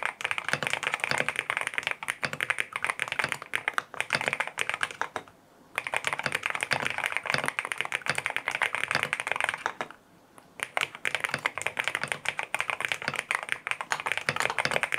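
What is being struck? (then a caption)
Aluminum-cased mechanical keyboard with plastic keycaps. A compact lavender full-aluminum M1W mechanical keyboard with white plastic keycaps, a PC plate, foam filling and linear switches is typed on with fingertips. The result is a dense, steady run of crisp, bright clacks centered in the upper mids, with almost no low end and no ring. The typing pauses briefly twice.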